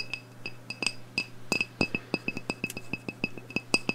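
A medium black glass candle jar, wax-filled and burning, is held in the hands and tapped with long nails on its glass wall. About nineteen quick, bright clinks form a fast, uneven rhythm, each ringing briefly at a high glassy pitch near 2.6 kHz. A faint low hum runs underneath.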